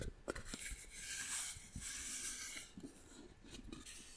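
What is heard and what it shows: Long nails scratch and tap across the carved surface of a small hand-carved brown wooden box held in the hand. The box is hollow, and the sound is a bright, dry rasping scratch with a few short, low knocks mixed in. The sound is quiet throughout.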